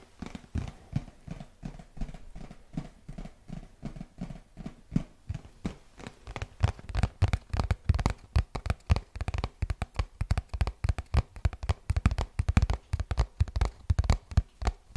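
Fingertips and nails tap rapidly on a printed cardboard retail box held close to the microphone. The result is a dense run of short, dull, low-heavy knocks that start sparse and quiet, then grow quicker and louder in the second half.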